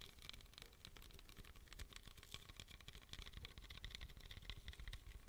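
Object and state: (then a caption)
Aluminum drink can. A small pink aluminum beverage can, likely empty or closed, is held in both hands close to the microphone and tapped rapidly with fingertips and nails. The result is a dense, continuous patter of short, dry taps with a bright metallic tick on top and a soft low thump underneath.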